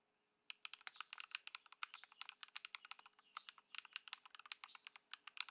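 Both hands type continuously on a modded white Ducky One 2 SF mechanical keyboard, fitted with Lumia Matcha switches, Poron foam and plastic keycaps, resting on a dark mat on a wooden desk. A steady stream of short, crisp, bright clicks and clacks, centered around 3.7 kHz with almost no low end, starts after half a second of near silence. Each keystroke dies away instantly with no ringing.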